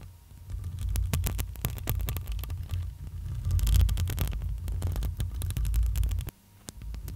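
Long almond acrylic nails on both hands tap and scratch the black metal mesh grille of a hollow, handheld-size microphone. Rapid, sharp clicks and bright scratchy bursts ride over a deep, throbbing low rumble. The sound drops to near silence around the six-second mark before a few more taps return.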